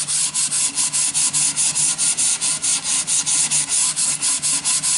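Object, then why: Wooden board and sanding sponge. A yellow sanding sponge is rubbed back and forth along a long, thin, solid wooden plank. It makes a bright, hissing scratch in quick, even strokes of roughly two per second, each separated by a brief dip. The sound stays steady throughout.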